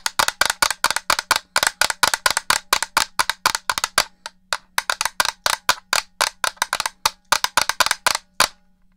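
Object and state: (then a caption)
Plastic game controller. Long-nailed fingers tap rapidly on the shell and buttons of a black, hollow plastic original Xbox controller held beside the microphone. About forty dry, clicky taps, bright and centered around 1.4 kHz, each die away almost instantly. A faint low hum runs steadily underneath, and the tapping pauses briefly near the middle before resuming.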